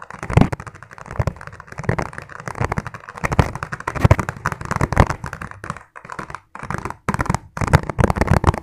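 A hollow, empty, clear ribbed plastic food container is tapped rapidly with fingertips. The result is a dense, fast run of short, dry taps with a hollow low thud and little ring. Brief pauses break the stream near the end.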